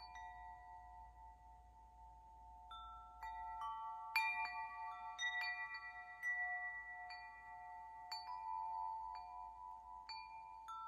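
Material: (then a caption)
Metal. A hollow metal tube wind chime with a ring top, held by its string, is shaken and struck by fingers. Irregular bright metallic strikes sound one after another, each adding a clear pitched tone with high overtones. The tones ring on and overlap in a sustained shimmer over quiet background hiss.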